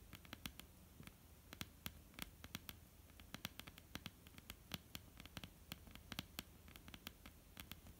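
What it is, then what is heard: Wooden tabletop tapped with fingernails. Long, almond-shaped painted nails on both hands tap a flat, solid wooden tabletop. The result is quiet, irregular, rapid clicks, each a sharp, bright tick that dies away almost instantly over a low, steady background hum.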